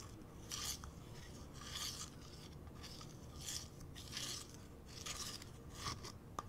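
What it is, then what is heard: Plastic bowl, scratched. Fingernails scratch and tap the outside and base of a small, hollow, empty translucent purple plastic bowl held up in the air. Repeated bright, raspy scratching bursts sound over a low, steady background, ending with one sharp, short tap.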